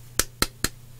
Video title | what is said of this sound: LOTS VINTED PS2 SLIME + JEUX + MANETTE | ça se sonne un petit peu creux tu vois c'est hyper vide